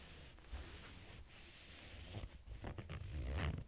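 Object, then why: Corduroy fabric backpack. Fingernails scratch along the ribbed fabric of a small cream corduroy backpack held upright. Soft, dry rasping strokes over a low, muffled rumble grow busier and louder toward the end.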